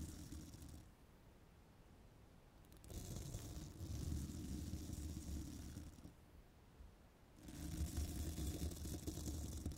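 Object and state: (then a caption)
Metal microphone mesh grille being brushed. A thin twisted-wire bristle brush is scratched and rubbed along a hollow steel mesh microphone grille while nails steady the mic. Dense low scratching and rumbling comes in bursts with brighter hissy texture on top. The bursts are separated by quieter pauses.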